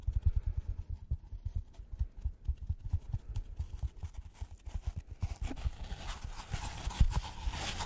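A white polystyrene foam packaging block, held in front of a microphone, is tapped quickly with gloved fingers. The result is a steady run of dull, low, hoof-like knocks with very short decay. In the last few seconds a brighter, hissing, rustling texture rises beneath the knocks.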